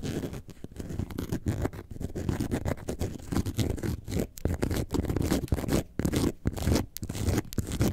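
Long nails scratch the front and the top near the zipper band of an upright yellow faux leather bag shaped like a lemonade carton. The result is a dense, steady, muffled scratching with a rough, low-heavy texture and brief pauses between strokes.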